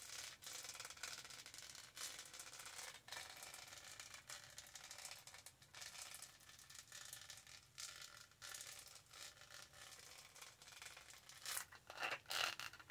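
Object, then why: Studded plastic tumbler. Long nails rub and scratch across the studded texture of a tall black hollow plastic tumbler. The sound is a steady, bright scratching and rustling, made of many quick small contacts, with a few louder scrapes near the end.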